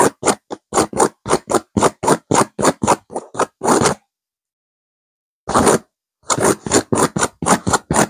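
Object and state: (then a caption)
Velvet cushion being scratched. Long nails scratch a stuffed blue burnout velvet cushion, a pillow with a blue velvet cover and a cream petal pattern, in quick, uneven strokes. About two dozen dry, brushy scrapes are heard, with a run of rapid strokes, a pause of over a second, then another burst.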